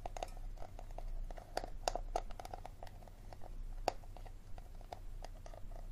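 Fingernails click and tap on the ridged bottom of an empty, hollow, clear plastic water bottle held sideways over a table. The result is an irregular series of short, dry clicks with a hollow tone around 730 Hz and bright edges, each dying away almost instantly over a steady low hum.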